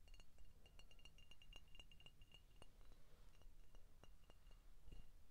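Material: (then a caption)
Glass. An empty, hollow, clear glass contour Coca-Cola bottle, held in the hands, is tapped with short painted fingernails along its neck and body. Quick, bright clinks ring around 2.7 kHz and die away almost at once, over a steady low rumble.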